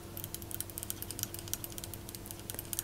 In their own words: this is alabaster. Alabaster is famous in Egypt.